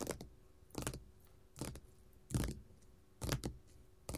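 Long gold metal finger-jewelry nail caps tap on a flat, solid red glitter faux leather sheet lying on a table. Short, dull, low-weighted taps with a bright clicky edge come in small clusters about every second, each dying away quickly over a quiet background.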